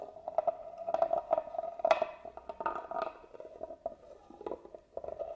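A small black tool scratches along the carved grooves of a hollow hand-carved wooden box held upright. The result is a quick run of dry ticking scrapes with a woody, hollow resonance around 650 Hz. A few brighter, sharper strokes stand out, and the box gives almost no low end.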